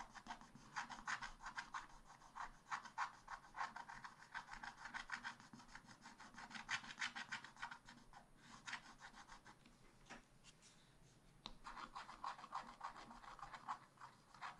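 A wooden stylus scratches repeatedly across a black-coated scratch-art paper page lying flat on a table, revealing coloured areas beneath. It makes quick, dry, raspy strokes in a steady rhythm with a bright midrange grit. There is a brief lull about two-thirds of the way through before the scratching resumes.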